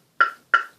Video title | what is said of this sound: Artist mark show you heart made of wood and oil painting read whrite up end video | just to let you know just how thick this wood is i'm gonna knock on it